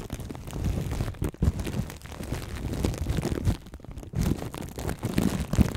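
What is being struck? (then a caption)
Plastic cling film wrapped over a microphone. Plastic cling film wrapped over the right microphone is cupped in both hands while fingertips and long nails squeeze, scratch and tap the film. The result is a dense, muffled run of crinkling and crunching that sits mostly in a deep, rumbling low range with little brightness. It drops briefly quieter around 1.3 seconds and again just before 4 seconds.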